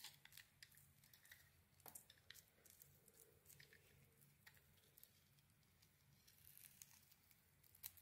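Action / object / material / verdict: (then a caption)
scrape / soap bar scraped with a metal blade / soap / none. A metal blade scrapes and carves a solid rectangular white soap bar with a gold glitter coating, held in the hand. Quiet, bright, crisp scraping strokes and sharp little ticks repeat throughout, over a faint low hum.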